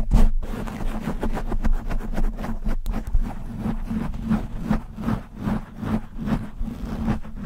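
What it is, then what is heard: Foam microphone windscreen being scratched. Fingernails scratch fast and aggressively across the top and sides of a black foam windscreen on a microphone. The result is a dense run of muffled, low-heavy scraping and rubbing bursts with almost no high, bright content.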